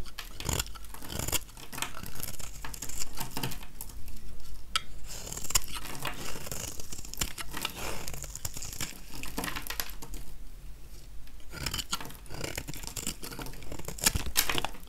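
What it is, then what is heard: Dry soap bar. A metal utility-knife blade scrapes shavings off the surface of a small, solid, dry oval yellow soap bar held in one hand. Dry, crackly rasping strokes come in steady bursts, with bright crisp edges over a low, dull body. Some strokes are sharper and louder than others.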